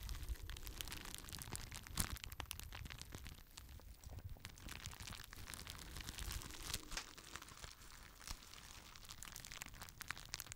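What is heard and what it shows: Fingertips pop the bubbles on a clear plastic bubble wrap sheet and crinkle it, at times holding it low in front of the microphone. Many sharp, dry clicks ring out over a steady bright crinkling rustle with a low rumble underneath, all at a soft level.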